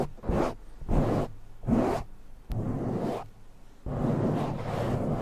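Fingertips of both hands rapidly scratch and rub a soft, porous black foam windscreen on a silver microphone. The result is a series of close, muffled swishing and scraping bursts with heavy low rumble and almost no bright top end. The final stretch of rubbing is a longer continuous scratching.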